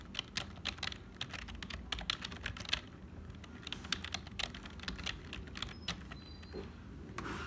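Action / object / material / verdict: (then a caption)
tap / plastic computer keyboard / plastic / none. Fingertips of both hands type continuously on a black HP plastic membrane keyboard with hollow keys. The result is a fast, uneven stream of short, bright, clicky taps that die away almost instantly, over a soft low rumble.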